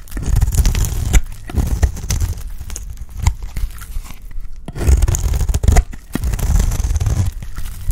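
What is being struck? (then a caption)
Bar of cream soap shaved with a blade. A box-cutter blade shaves a round, solid bar of dry cream soap, forming curls. Repeated dry, crinkly scraping strokes rasp through the clip with a deep, muffled body and short sharp clicks as the blade bites and the curls peel away.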